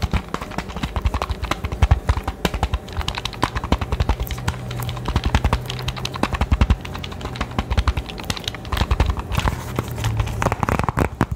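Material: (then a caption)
Cardboard. A small, hollow, rectangular cardboard retail box for a Nintendo Switch game card case is held in both hands close to the microphone and tapped and scratched with fingertips and nails. The result is a fast, steady stream of dry, hollow, low-pitched taps with almost no ring, mixed with faint scratchy rustling.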